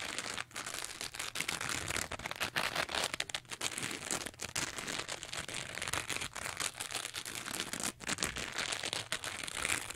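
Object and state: Foam sponge being scratched.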